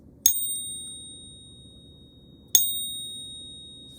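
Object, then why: Silver-copper alloy bullion coin. A silver-copper alloy bullion coin, held in a ping tester, is gently tapped twice on its edge with a stack stick. Each tap gives a bright, high, bell-like ring with steady tones that slowly fade, and the coin sounds normal for silver alloyed with copper.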